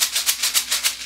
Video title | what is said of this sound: Skeleton Cat- A Read Aloud/ Sing Aloud | a jar of popcorn that makes a great sound here